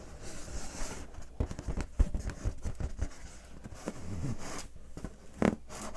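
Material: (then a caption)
Latex. Long painted fingernails scratch and rub the surface of a large, hollow, air-filled clear latex balloon held in both hands. The result is a run of dull, low, boomy scrapes and soft thumps resonating through the balloon, with a brief bright squeak near the end.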